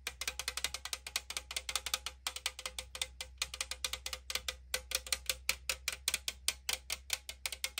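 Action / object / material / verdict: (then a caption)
tap / aluminum drink can / aluminum / none. Long acrylic nails tap and scratch the printed side of a hollow 500 ml AriZona green tea aluminum can held in hand. The result is a quick, uneven run of sharp, bright clicks with almost no ring, over a faint steady low hum.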